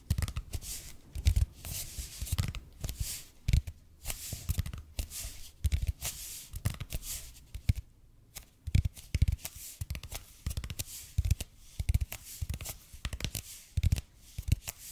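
A red and white speckled expanded polypropylene foam roller, about 30 cm long, is held in both hands while fingernails scratch and tap its surface. Dozens of soft, dull, low thuds come in a slow, uneven rhythm, mixed with bright, dry scratching bursts. Each tap dies away almost instantly.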